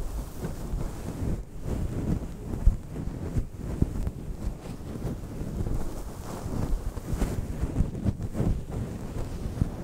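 Fingertips and nails of both hands scratch and rub a fist-sized, soft, fluffy grey-black synthetic fur windscreen fitted over a microphone. The result is a continuous muffled, booming rustle that sits almost entirely in the low end, with no crisp highs. Occasional louder thumps poke out of the steady rumble.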